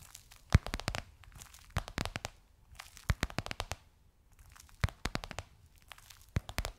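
Long nails tap and scratch the top and edge of a gold crocodile-embossed faux leather pillowcase on a soft cushion. Quick clusters of crisp, crinkly taps and scrapes come in bursts separated by short pauses, each with a soft low thump and a bright, dry crackle that stops almost at once.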